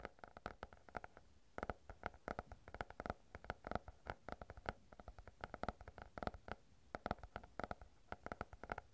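A small stack of paper banknotes is held in both hands right in front of a furry microphone and crinkled and rubbed with the fingertips. The result is a quiet, steady run of short, dry crackles and rustles with a midrange papery tone, each snap dying away almost instantly over a soft background hiss.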